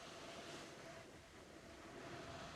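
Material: Nothing is struck.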